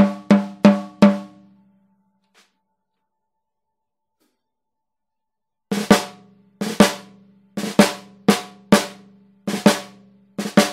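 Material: Brass.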